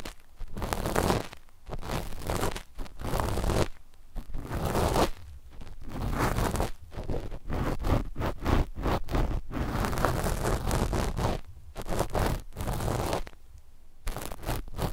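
Two cotton swabs held in both hands scratch their cotton tips across a flat, dark knit fabric sheet laid over the microphones. The result is a run of dense, raspy rustling and scraping bursts with a heavy low rumble, broken up by brief quieter pauses.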